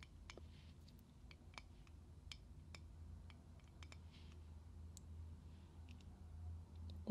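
A small round metal compact mirror is held open in one hand on a table while the fingertips and nails of the other hand tap and click on its metal rims and mirror surfaces. Faint, sharp, bright clicks and taps sound over a low, steady hum. The clip ends with one louder knock.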